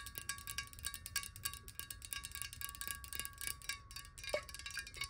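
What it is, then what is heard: Glass water bottle tapped with nails. Long nails tap rapidly on the side of a clear glass water bottle that is hollow, partly filled with water, and held horizontally in both hands. The quick, bright clicking taps each carry a brief glassy ring around a steady tone and fade almost at once.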